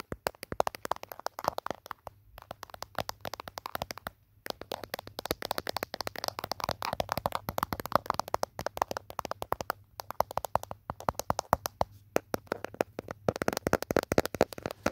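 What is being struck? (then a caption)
Smartphone in a rubber-plastic case. Fingertips and nails tap rapidly on the back of a handheld smartphone's green rubber-plastic protective case near the camera, recorded by the phone's own microphone. The taps are quick, dry clicks with almost no ring, coming in dense bursts separated by brief pauses.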